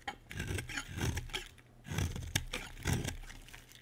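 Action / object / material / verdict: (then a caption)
scrape / bar of soap shaved with a metal blade / soap / none. A solid, dry white bar of soap held in the hand is shaved with a metal utility blade. Repeated raspy scraping and cutting strokes swell and fade in close succession, with a soft low body and bright, crisp edges as the blade peels the soap.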